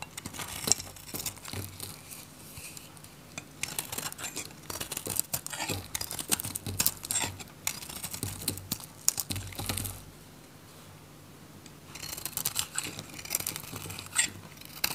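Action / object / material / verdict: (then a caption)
scrape / bar of soap / soap / none. A hand-held, solid orange bar of dry soap has thin layers scraped off its surface by a metal utility blade. Dense, bright, crinkly scraping and shaving crackles come in busy bursts with short pauses. Around the tenth second there is a quieter lull before the scraping resumes.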